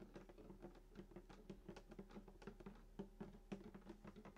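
Fingertips tap the wooden top of a hollow sunburst acoustic guitar lying flat, around the bridge. The result is a quick, irregular patter of soft, dry knocks with a low hollow resonance near 200 Hz that dies away almost immediately.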